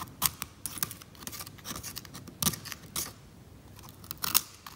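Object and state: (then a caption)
Varnished oil painting surface. A small metal scalpel scrapes thick brown varnish off the top edge of an old oil painting lying flat on a table, while a second hand rests still on the painting. The result is a quick run of short, dry, bright scratches and ticks with no ring, and a few sharper louder strokes stand out.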